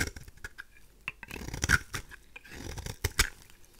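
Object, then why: Bar of soap scraped with a blade. A craft knife blade scrapes a pink, oval, dry rose soap bar with a marbled surface into curls. The result is a series of short, dry, crackly scrapes and bright, crisp clicks at an uneven pace, each dying away almost instantly.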